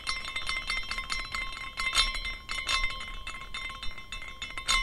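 A small decorative glass carousel figurine spins after being set in motion by hand, its glass horses clinking against the glass posts. The result is a steady run of bright, delicate tinkles over a soft low rumble, with a strong ringing tone near 1 kHz and brief, quickly fading chimes.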